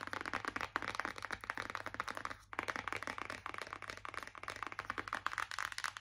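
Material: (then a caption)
Cardboard. Long acrylic nails tap rapidly on the back of a white printed cardboard palette box held in both hands. The taps are quick, dry and clicky, with a bright papery midrange and almost no ring. They come in a steady rush, broken by a short pause about halfway through.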